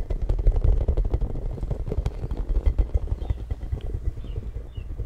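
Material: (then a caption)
Plastic. Fingertips and nails tap and scratch the spiky surface of a hollow, hand-sized, pink translucent plastic spiky ball held close to a microphone. Rapid, uneven taps and scratchy clatter blend into a dense, boomy low thumping with faint bright ticks on top. The sound fades slightly toward the end.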